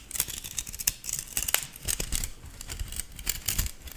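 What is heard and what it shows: A stainless steel balloon whisk is held by its handle while fingers and nails pluck, strum and slide along its thin wire loops. Bright, short metallic pings and scraping rasps come at an uneven pace over a soft low rumble, each one fading almost at once.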